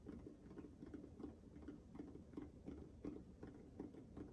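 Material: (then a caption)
Rubber. Fingertips and nails tap and scratch the textured surface of a small, hollow, orange-pink spiky rubber sensory ball held in both hands close to the mic. A quick, uneven series of soft, dull taps with a low-mid body sounds under faint scratchy rustling. Each tap dies away almost at once, and the whole clip stays quiet.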